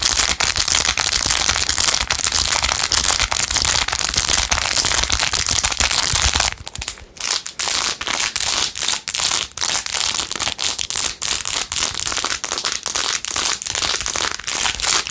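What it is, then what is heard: Rhinestone-covered plastic phone case. Long nails scratch fast over a blue-jeweled, rhinestone-covered plastic phone case. A dense, bright, continuous scratching fills the first six and a half seconds, then drops to quieter, rapid crackly taps and clicks.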